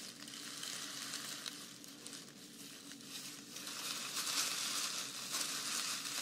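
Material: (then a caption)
Dried grass. Long nails and fingertips scratch and rub through a large bundle of long, thin green strands from a grass skirt made of dried grass or raffia, held close. The result is a steady, bright, crackly rustling, almost all high hiss with little low end, that dips in the middle and grows louder toward the end.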